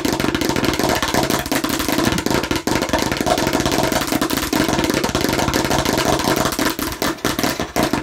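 Fingernails on both hands tap and scratch fast and aggressively across a hollow plastic watermelon-slice bottle. The result is a dense, steady stream of sharp plastic clicks and scratchy rasps with a hollow, mid-pitched tone.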